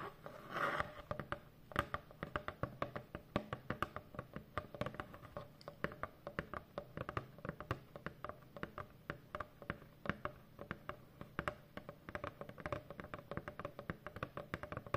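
Long painted fingernails of both hands tap on a large, hollow corrugated cardboard box. The result is a steady stream of quick, dull, hollow taps with a short ring and very little high end, plus a brief brushing sound near the start.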